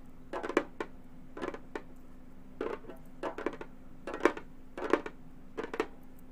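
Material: Synthetic membrane.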